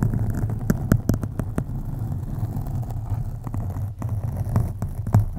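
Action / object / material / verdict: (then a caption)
scrape / foam microphone windscreen / foam / none. Fingertips and long nails scratch deeply and slowly across a black foam windscreen on a USB microphone. The result is a dense, muffled low rumble centered around 100 Hz, with scattered sharp, brief clicks and no bright upper content.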